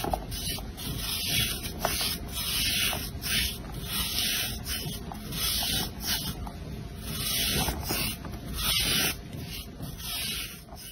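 A blade with an orange handle scrapes and shaves flat the face of a round, solid, pale blue soap bar held in one hand, producing flakes and exposing green glitter. A steady run of bright, rasping scraping strokes repeats at an uneven pace, with a soft low rumble beneath.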